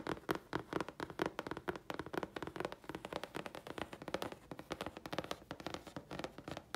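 A thin, flat grey chipboard sheet held in the hands is tapped with long fingernails. A rapid run of around 48 short, dry clicks over nearly seven seconds, each with a woody knock near 355 Hz and a brief bright crackle, dying away almost instantly.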